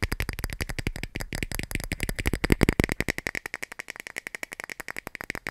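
A clear plastic cap is tapped in a fast, steady run of short, dry clicks, each with a low thump and a bright edge around 2 kHz. The taps swell louder near the middle, then continue as evenly spaced, lighter clicks to the end.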